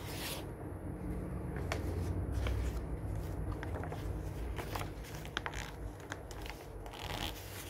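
A hand turns the pages of an open glossy paper magazine lying on a wooden table, then scrunches a page with its fingers. Soft papery swishes and rustles ride over a steady low rumble, giving way to sharper, bright crinkling crackles toward the end.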